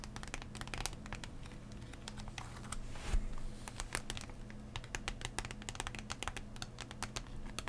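Fingernails tap and scratch the hollow plastic shell of a card blister pack lying flat on its cardboard backing. Quick, bright clicks come in irregular bursts over a steady low hum, with a rougher scraping swell near the middle.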